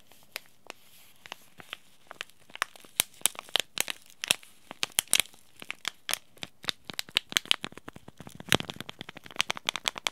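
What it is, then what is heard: Paper-foil tea bag sachet. A small white and teal Yogi Tea sachet made of paper-foil laminate, holding a tea bag, is crumpled and folded by fingers. Many sharp, bright crinkles and crackles snap out in quick succession, each dying away almost instantly, with little low-end body.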